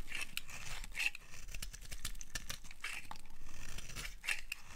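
A solid, dry orange-red bar of soap is held in the hand while its edge is shaved with a utility knife blade. Crisp, dry scraping strokes break into quick crackles with a bright edge, each cut ending almost instantly with no ring.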